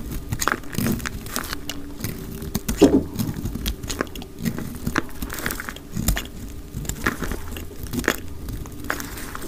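A solid purple marbled dry soap bar, held in the hand, is shaved and cut with a utility knife blade, played back at double speed. A rapid run of dry, crisp crunching and scraping cuts repeats throughout, each short and quickly damped, with a low, close body under brief bright edges.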